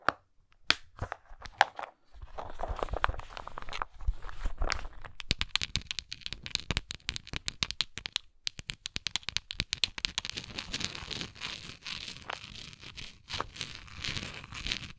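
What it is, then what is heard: Plastic tablet bottle. Long nails scratch and tap the side of a hollow, textured, translucent plastic Tums tablet bottle with a blue cap and tablets inside. Sharp, dry clicks and taps mix with bright, crinkly scratching that runs in quick bursts, over a soft low rumble, and each sound dies away almost at once.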